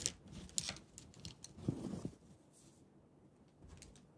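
A small, hollow, polished stainless steel brush-washer canister, its lid closed with wire clamp latches, is tapped and fiddled with by bare fingertips on its side and latch. Bright, short tick-like clicks and light metallic taps come in irregular bursts, with a fuller, lower knock in the middle. The sounds fade to quiet near the end.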